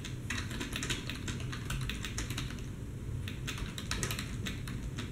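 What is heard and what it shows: Steady two-handed fingertip typing on a black plastic desktop computer keyboard. Rapid, bright plastic key clicks run continuously over a low background rumble for about five seconds.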